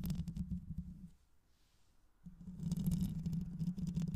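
Long nails scratch the mesh grille, likely metal, of a black hollow microphone with both hands, making a dense, low, rumbling scrape with rapid irregular strokes. The scratching fades to near silence for about a second midway, then returns louder and continues to the end.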